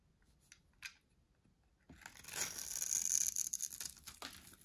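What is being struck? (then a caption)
Bar of soap scraped with a metal blade. A solid white dry soap bar is held in hand and shaved with a metal box-cutter blade. A few faint, soft ticks come first, then a long, bright, crunchy scraping sets in and builds, with a thin, steady high tone through the carving before it eases near the end.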